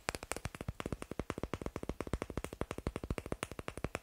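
Fingers tap fast on wooden blocks, making a steady, dense run of about 41 short, dry knocks in four seconds. Each tap has a low, woody thump with a brief bright click and almost no ring.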